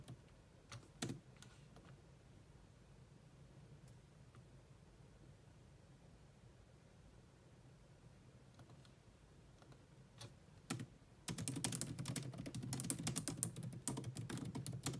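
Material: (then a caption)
Plastic. Long nails and fingertips type on the low-profile plastic keys of a grey laptop keyboard. A few scattered clicks break a quiet stretch before a fast, dense run of bright tapping keystrokes in the final few seconds.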